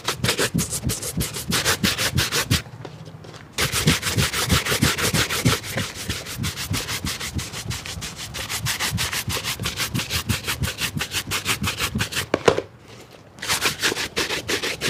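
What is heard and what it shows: A black leather shoe is held while its leather upper is brushed rapidly back and forth with a wooden-handled bristle shine brush. The result is a steady, bright, scratchy rubbing rhythm, with two brief quiet pauses: one near the three-second mark and one shortly after twelve seconds.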